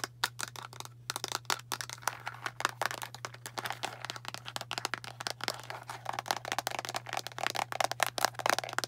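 A fingernail taps quickly on the label side of a hollow, blue plastic deodorant stick container with its cap on. It makes a fast, uneven run of dozens of short, dry, bright clicks, each gone almost instantly, over a faint steady low hum.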